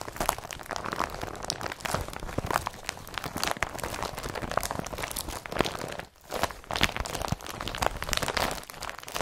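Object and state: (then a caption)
Woven polypropylene bag being crumpled. Hands grab and crumple an empty blue woven polypropylene IKEA BRATTBY carrier bag. The plastic gives a dense, continuous run of crisp, bright crinkles and crunches, with a brief lull around six seconds before the rustling resumes.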